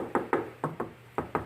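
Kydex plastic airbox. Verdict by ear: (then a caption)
Solid. Six taps on a homemade airbox in a 2015 Subaru WRX STI. The box is made of thick, roughly 1/4-inch Kydex thermoplastic, riveted and coated. Each tap gives a short, solid knock around 350 Hz with little ring, and the box sounds rigid and stays in place without bending or warping, unlike the hollow-sounding COBB airbox.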